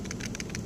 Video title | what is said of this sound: Small blade EDC (and other options) | it's got rattle, but it's not coming out